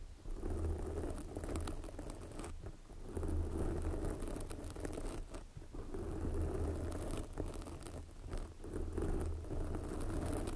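Fingers with long nails scratch and rub directly on a large red foam microphone windscreen, making a dense, close crackling and rustling texture over a heavy low rumble. The scratching comes in uneven bursts with brief quieter dips throughout.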